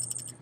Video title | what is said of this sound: Unit9.9-Equilibrium-2 titration | as I shake this beaker around, you can see that they look and they sound very dry. Just dry white pellets.